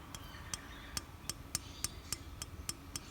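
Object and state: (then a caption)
Valve rocker with clearance (tapping, correct play). After adjustment, the steel exhaust valve rocker arm on a Suzuki Quad Runner 250 engine is rocked against the valve stem, giving ten short, sharp, high-pitched metallic taps at an uneven pace. The tapping shows normal exhaust valve clearance, twice that of the inlet valve, because the exhaust valve expands with heat.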